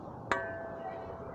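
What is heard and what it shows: A single rap on the end of the nogle of an Albion Soldat messer, whose pommel is peened to the tang, makes its whole steel blade ring out like a bell with a steady tone near 660 Hz that sustains to the end of the clip. The clean ring shows the peened hilt has no looseness and is solidly connected.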